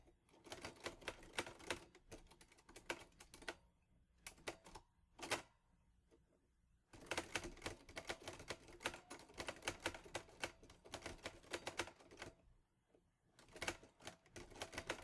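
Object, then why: Metal manual typewriter. Fingertips type on the round keys of a green metal Underwood Olivetti Lettera 22 portable manual typewriter with paper in the carriage. Rapid, bright, dry clacks come in dense bursts, broken by short pauses and a few isolated strikes.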